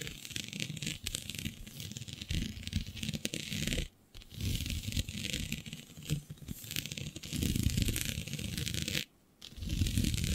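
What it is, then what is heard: Textured stretch fabric. Long nude nails scratch and pinch a flat sheet of black synthetic stretch fabric with a shiny dotted swirl pattern, which dents under the fingers. Dense, rough scratching and rustling run throughout with a heavy low rumble and bright crinkly texture, broken by brief near-silent pauses around 4 and 9 seconds.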